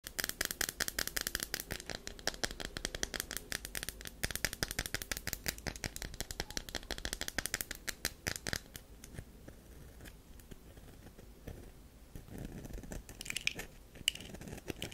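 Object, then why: Bar of soap. Long pink acrylic nails scratch and scrape the carved face of a round, solid olive-brown bar of soap held in one hand, its surface already scraped and dusted with soap powder. For the first eight seconds there is a dense, rapid run of crisp, bright scratching clicks. It then settles into quieter, sparser scraping with occasional sharper ticks.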